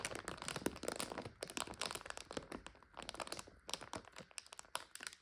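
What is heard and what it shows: Both hands rest on a full, clear plastic bag of dry egg noodles and squeeze it, crinkling the plastic and crunching the dry noodles inside. A dense run of sharp, bright crackles and crunches with very short decay continues throughout, with little low end.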